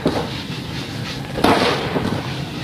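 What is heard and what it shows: A packed ball of grey sand held in the hand is crushed with the fingertips, giving two gritty, crackling bursts as the grains rub together. Each crunch trails off into a soft, bright hiss as the sand falls back into a basin of loose sand.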